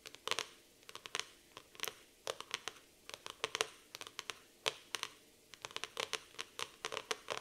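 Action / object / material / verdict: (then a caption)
scrape / laminated cardboard notebook cover / laminated cardboard / none. Long nails scratch the laminated cardboard cover of a black floral hardcover notebook in around thirty quick, separate strokes. Each stroke is a short, dry, bright scratch with almost no low end and no ring, spaced in irregular bursts.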